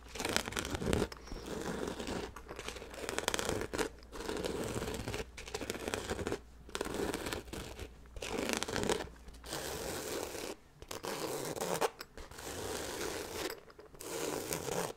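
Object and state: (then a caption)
Nylon fabric bag scratched. Fingertips scratch along the side of a hollow black nylon zippered bag held beside the microphone. The scratching comes in bursts of dry, crinkly rustling with a mid-range body and a bright, gritty edge, separated by brief near-silent pauses.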